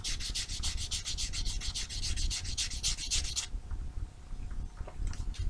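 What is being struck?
Foam nail buffer block with abrasive sides.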